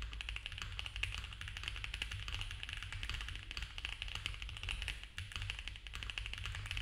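Both hands type fast with their fingertips on a compact mechanical keyboard with cream ABS keycaps on a dark case, a polycarbonate plate and foam filling. A continuous stream of quick, crisp plastic clacks rings out, each dying away almost at once, bright in the upper range over a steady low hum.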